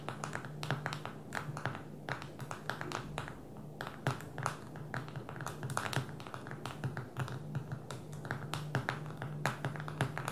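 Long fingernails tap rapidly on the glass touchscreen of a small black smartphone lying flat on a table. The taps come as a dense, uneven stream of crisp, bright clicks over a steady low hum, each click dying away almost instantly.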